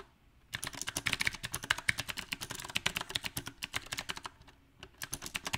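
Fingertips type on a mechanical keyboard with round plastic typewriter-style keycaps on a silver metal frame. After a half-second of quiet, a fast, uneven run of sharp, bright key taps plays. The taps briefly pause, then resume for a final burst.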